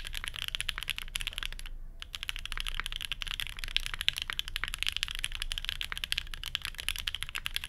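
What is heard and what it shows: Both hands type steadily with their fingertips on a full-size grey and beige Geonworks F1-8X mechanical keyboard resting on a desk mat, fitted with plastic keycaps, a 2 mm aluminium plate, Banana Split switches, no dampening and a hollow case. A rapid, continuous stream of short, bright, clacky keystrokes is heard, with a brief pause just before the 2-second mark and a faint low thud under each press.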